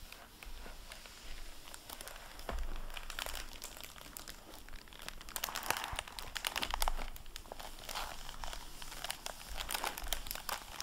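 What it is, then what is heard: Plastic-covered book jacket crinkling. Fingers wipe a microfiber cloth across the plastic-covered dust jacket flap of a dark blue hardcover library book lying open. Dense, bright crinkling and soft rubbing carry on throughout, with louder bursts of crackle near the middle, over a faint low hum.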